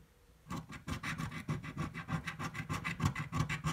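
A coin scratches the play area of a red, thin-card paper scratch-off lottery ticket resting on a table. After a brief quiet start, a rapid, slightly uneven run of short rasping strokes follows, each with a dull low thump under a bright, papery scrape.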